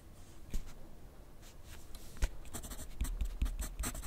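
A wooden graphite pencil writes continuously on a sheet of lined paper clipped to a flat clipboard on a wooden desk. The tip scratches across the paper in soft, quiet strokes, with a few sharper, brighter scrapes and light taps standing out as the writing picks up.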